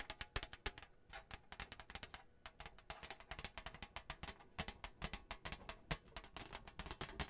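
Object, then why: Thin printed cardboard placemat. Long nails tap rapidly on a flat, thin, printed cardboard Hanukkah placemat with a menorah design, held close in front of the microphone. The result is a quick, uneven stream of short, dry, bright clicks with a light papery thump underneath, each dying away almost instantly at a soft overall level.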